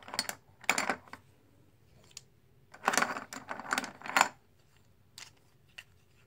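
Fingertips and long nails pick up, stack and riffle a pile of small, solid plastic/composite dice-style poker chips in a white tray, so the chips click together. Bright, dry clusters of rapid clicks come in bursts separated by quiet pauses, with a busy stretch in the middle and a few faint single ticks near the end.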